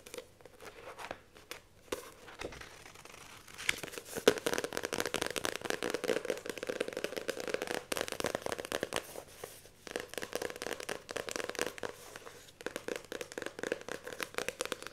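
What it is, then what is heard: Paperback book with glossy card cover. Long nails scratch and tap the glossy card cover and the spine of a paperback book while it is held. The result is a fast, dense run of dry, bright scratches and light crisp taps with brief pauses, and no low-end weight.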